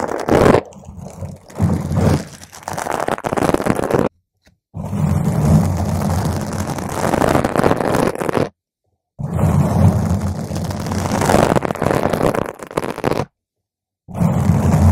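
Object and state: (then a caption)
Foam microphone windscreen being scratched. Long nails from both hands scratch a round purple foam microphone windscreen, producing a dense, close, low rumbling scrape with a steady hum-like buzz underneath and little high-end content. The scratching comes in bursts separated by three brief silent breaks as the nails lift off, and it stops abruptly each time.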